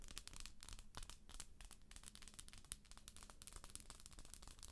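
Long acrylic nails scratch the textured shell of a hollow plastic galaxy moon lamp. The result is a dense run of quick, dry, crackly scratches with many sharp bright ticks over a low, steady rumble. The sound stays quiet and close throughout.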